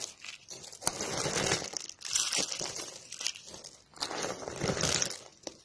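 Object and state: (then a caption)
Dry, brittle soap curls. A hand wearing a ring presses and crushes brittle, blue-and-white striped dry soap curls with its fingers on a patterned cloth. Dry, bright crackling and crunching comes in several swelling bursts, with a few sharper snaps, as the curls break into flakes.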